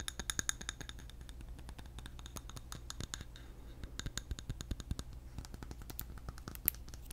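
A medium glass jar filled with solid yellow candle wax is held in one hand and scratched and tapped with fingernails. The result is a quiet, steady run of short, sharp clicks and scratchy taps with a bright, glassy edge, over a constant low hum.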